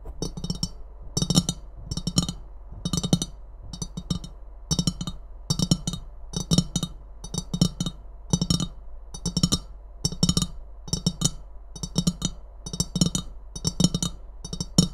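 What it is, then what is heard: Ceramic mug. An empty ceramic Christmas mug with a red rim, held in both hands, is tapped rapidly by long nails on its rim and body. The hits come in quick, dry clusters with brief pauses between them. Each one pairs a short low knock with a bright, glassy click that dies away almost at once.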